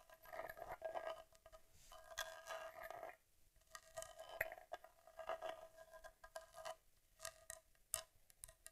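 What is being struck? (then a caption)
Metal camera body with leatherette panels. Long nails tap rapidly across the leatherette panels and metal trim of a vintage Argus C3 rangefinder camera, a small boxy metal body held in the hands with its back facing up. The quiet, dry clicks and light scratchy taps come in uneven bursts with brief pauses, each tap dying away almost instantly.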